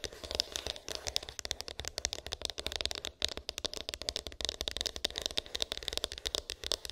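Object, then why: Small cardboard phone box. A small white cardboard iPhone box with an embossed, textured lid, hollow and with unknown contents, is tapped and scratched with long pink acrylic nails. Rapid, crisp clicks and scratchy rasps run together in a dense, bright patter with a hollow, papery tone and almost no ring after each hit.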